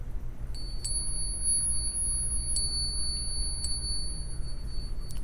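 Two American Gold Eagle coins are tapped lightly together near the microphone as a ring test of whether they are real gold, giving four sharp metallic clinks. Each tap leaves a thin, high ringing tone that lingers over a steady low hum, the high ring a genuine gold coin gives.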